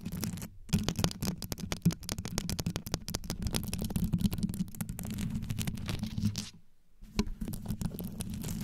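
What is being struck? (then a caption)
Rhinestone-covered microphone grille. Long yellow nails scratch fast from both sides across the rhinestone-covered grille of a black condenser microphone. The result is a dense, rapid stream of deep, rumbling scrapes and sharp ticks, broken by brief pauses near the start and around the seventh second.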